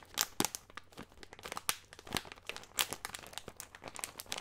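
Fingertips squeeze and crinkle a small, clear, thin plastic bag with a green label, filled with nuts, close to the microphone. The result is a steady stream of bright, dry crinkles and crackles with sharp, quickly fading spikes and almost no low end.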